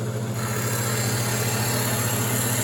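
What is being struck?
Nothing is struck.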